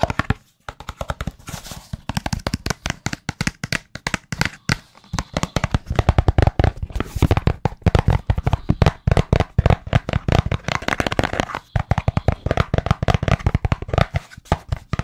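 A small, white, rigid, hollow cardboard smartphone box is held in both hands and tapped rapidly with the fingertips. The result is a dense, continuous stream of short, dry, hollow knocks with a low, boxy thump and almost no ring.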